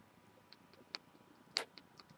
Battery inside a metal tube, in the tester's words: you'll hear a little bit if you shake it side to side and that's cuz the tube is just a little smidge too big on the side